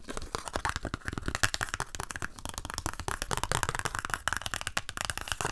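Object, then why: Paper sticker sheet with paper backing. Fingernails scratch and tap across the top edge of a flat pink nail-sticker sheet on a white paper backing, held up in the air. The result is a dense, continuous run of dry, crackly scratches and quick papery taps with a bright rasp, each click dying away almost instantly.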